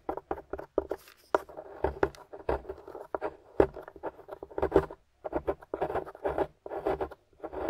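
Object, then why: Plaster excavation block. A pointed wooden stick, held in a hand with long nails, scratches and digs into a solid, crumbly grey plaster/gypsum dig-kit excavation block with debris around it. The result is a quiet, irregular run of short, dry scratching and crumbling scrapes in bursts separated by brief pauses.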